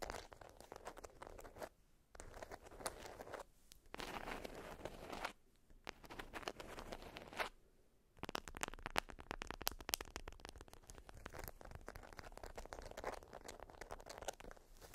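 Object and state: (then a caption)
Beeswax fabric wrap. A small bundle of folded orange-print beeswax cotton wrap is scratched and pressed with long nails, giving the stiff waxed fabric a dry crinkling, crunching texture. Bursts of scratching break off into brief quiet gaps around 2, 4, 5.5 and 7.5 seconds, and after 8 seconds the sound turns into a dense run of sharp, bright crackles and scrapes.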